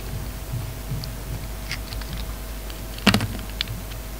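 An oval, solid bar of soap with a dark red metallic coating and a pink inside is held in the hand and scraped and carved with a metal utility knife blade. Soft, faint scraping and light ticks sit over a steady low hum, then a louder, sharp crisp cut rings out about three seconds in, followed by a smaller click shortly after.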